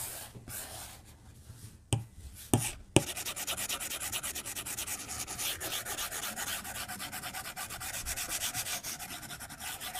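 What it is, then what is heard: Stylus on glass tablet screen. A white plastic stylus tip rubs the glass screen of a tablet lying flat on a desk, making repeated shading strokes. Soft, scratchy rubbing is followed by three sharp taps, then a steady run of quick back-and-forth strokes with a bright, hissy texture.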